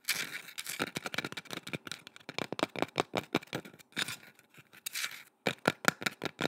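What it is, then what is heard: Painted wooden carving tapped and scratched with nails. A curved, solid, painted wooden boomerang-shaped carving, held in both hands, is tapped and scratched with long red nails. Dozens of short, dry, bright clicks come in quick irregular bursts, mixed with soft scratchy rasps and brief pauses. There is very little low end.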